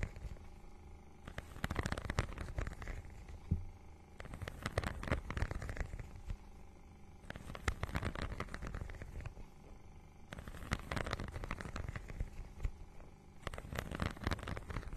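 Long nails scratch across the textured synthetic surface of a small iridescent, holographic faux-leather mermaid-scale book cover held in both hands. Repeated bursts of dense, crackly scratching alternate with quieter gaps, and the soft, close sound is dominated by a low rumbling texture.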